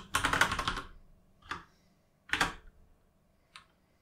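Fingertips tap the plastic keycaps of a full-size mechanical gaming keyboard while typing. A quick flurry of bright, clacky keystrokes is followed by a lone click, another short burst, and a final light tap, with brief pauses between.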